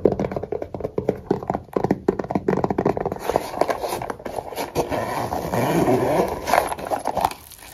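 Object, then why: Fabric-covered hard-shell zip case. A small black hollow hard-shell case with a fabric cover and red zipper trim is tapped and scratched with fingertips and nails. A quick run of dull, hollow, muffled taps gives way to a steady, rustling scratch across the fabric. The scratching swells and fades before stopping.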